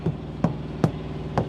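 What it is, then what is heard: Thumped truck tire. A tire thumper strikes a rubber truck tire four times, each hit a short, dull, low thump around 160 Hz that dies away almost at once, over a steady low hum. Thumping the tires is a way to compare how they sound, since a tire at a different pressure sounds different, though it is no substitute for a pressure gauge.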